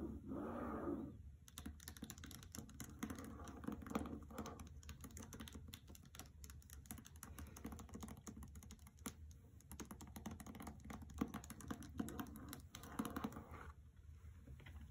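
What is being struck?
Hardcover book with paper dust jacket.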